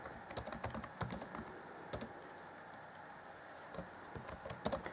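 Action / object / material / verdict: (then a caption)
tap / plastic laptop keyboard / plastic / none. Fingertips of both hands type on the black plastic chiclet keys set in the grey deck of an Acer Chromebook C20 (2014) laptop, a hollow plastic keyboard. Quick, dry tapping clicks with a bright clatter come in bursts, with a short pause in the middle before typing resumes. Each tap dies away almost instantly.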